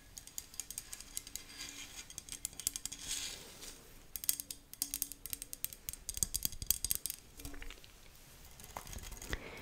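Fingernails scratch and tap the string mesh and metal frame of a badminton racket held over the microphone. The result is a quiet run of bright, crisp scratches and quick dry ticks that come in rapid clusters, with a faint low steady tone fading in and out underneath.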